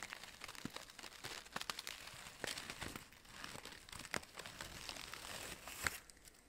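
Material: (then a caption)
Synthetic fabric. Fingertips pinch and crinkle red-orange synthetic fabric orchid petals on an artificial stem, close up. The result is a quiet, bright, dry crinkling and crackling with many short rustles, sharp snaps and no ring-out.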